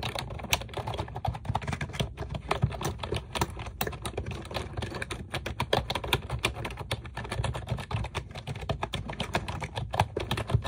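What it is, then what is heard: Plastic computer keyboard. A pink plastic computer keyboard with round keycaps, resting on a desk, is typed on with long acrylic nails. A steady stream of quick, sharp clicky taps, each dying away almost at once, sits over a low, thumpy body with bright clicking edges.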